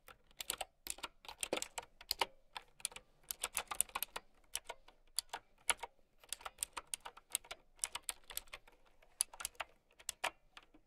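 Long nails and fingertips type on a mint-green, typewriter-style mechanical keyboard with round plastic keycaps. The result is a steady run of sharp, bright clicks in quick, uneven bursts, each one dying away almost instantly with almost no low end.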